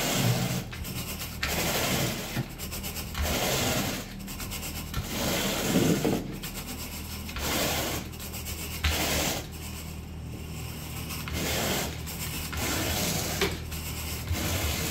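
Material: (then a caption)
Synthetic fibre. A blue plastic-bristle carpet rake on a wooden handle is drawn in repeated strokes across a wall-to-wall speckled brown and beige synthetic carpet with a soft pile, leaving visible rake lines. Each stroke is a bright, scratchy brushing rasp that rises and fades in a loose back-and-forth rhythm. A steady low hum runs underneath throughout.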